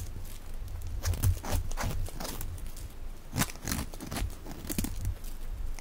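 A box-cutter blade scrapes and shaves a solid, dry, hand-sized yellow soap bar held in the palm, and the curled shavings fall onto a pile of soap flakes. Repeated dry, crunchy rasps with bright edges sit over a steady low rumble.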